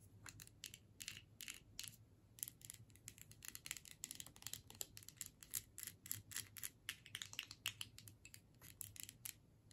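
Long nails tap a filled plastic tube held upright and its metal screw cap, making a quick, irregular run of dozens of dry, bright clicks and taps. Each tap dies away almost instantly, over a faint low hum.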